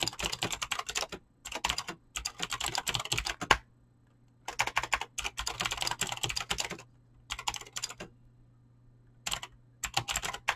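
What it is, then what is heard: Mechanical keyboard with PBT keycaps. Fingertips type fast on a mechanical keyboard with clicky green switches and PBT plastic keycaps. Bright, sharp clicks come in several quick bursts separated by short pauses, with a faint low hum underneath.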